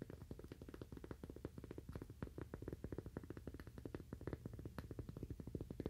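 A cork "Toaster Coaster" is tapped rapidly and continuously with fingernails. It gives quiet, dull, muffled taps with a low thudding body and almost no bright top. Each tap dies away almost instantly, so the taps run together in a steady patter.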